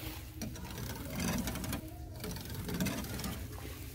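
Fingertips scratch and rake quickly across the many thin parallel slats of a light wooden louver panel, like a shutter or cabinet door, in a store. The result is a fast, uneven stream of dry clicking and scratching over a steady low rumble, with brief brighter bursts of rattle.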